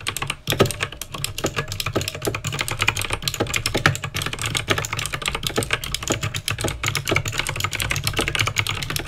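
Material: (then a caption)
Plastic. Two hands type fast with fingertips and nails on a backlit mechanical keyboard with plastic keycaps and clicky green switches. Dense, bright clicks and clacks run nearly without pause, over a low steady hum.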